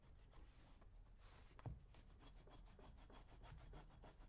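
A metal blade scraper is drawn repeatedly across the leather upper and toe of a brown leather lace-up work boot worn on a foot, while the other hand steadies the boot. The clip is a steady run of quiet, rough, rasping scrapes with a dull, low-heavy texture. A brief louder knock stands out partway through.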